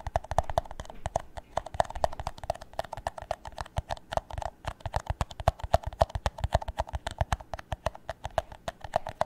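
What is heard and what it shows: An empty, hollow, clear plastic drinking cup is held upside down and tapped on its base and walls with fingertips and nails. The result is a rapid, steady stream of short, dry, hollow clip-clop taps with a mid-pitched tone around 650 Hz and almost no ring.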